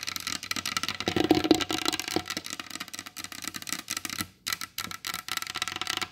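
Long blue almond-shaped acrylic nails tap quickly on the glossy varnished top of a large solid wooden table. The result is a rapid stream of short, bright clicks with a light woody knock underneath that die away almost at once. The tapping dips into a brief pause about two-thirds of the way through, then resumes.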